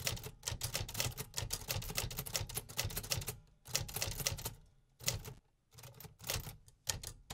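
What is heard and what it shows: Fingertips press the keys of a metal 1950s typewriter in repetitive mechanical typing. It makes a rapid run of sharp, bright clacks with a low thud under each strike and almost no ring. Short pauses fall near the middle and later in the clip before the typing picks up again.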